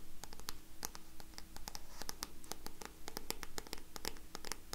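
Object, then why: Paperback book card cover. Long nails scratch and tap the back card cover of a solid black paperback book. A rapid stream of crisp, bright clicks and dry scratching rides over a steady low hum, each tap dying away almost at once.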